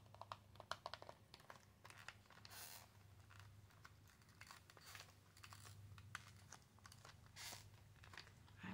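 An L.A. Colors press-on nail pack, cardboard with a plastic blister, is tapped and scratched with long acrylic nails, giving many sharp, dry clicks between bursts of bright, crinkly scratching. A low steady hum runs underneath, and near the end the pack is tilted.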